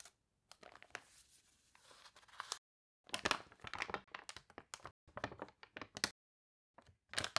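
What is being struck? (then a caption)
Glossy paper catalog pages. Hands with long nails lift, turn and press flat the crinkly, water-warped pages of an open glossy paper toy catalog. The result is quiet, bright bursts of crinkling and crunching paper, separated by short silent pauses.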